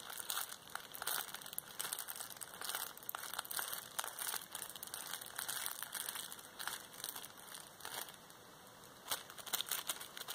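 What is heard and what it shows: A large, hollow roll of clear plastic bubble wrap is held in both hands while fingertips with long painted nails squeeze and scratch the bubbles, and the roll is brought near the face at the end. A steady, bright crinkling and crackling is heard, full of quick sharp ticks with almost no low end. The sound briefly quiets before a few louder crackling bursts at the end.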